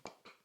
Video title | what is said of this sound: MY LUXURY DESIGNER SUNGLASSES COLLECTION - Gucci, Burberry, Bottega Veneta | they're very cheap you can hear it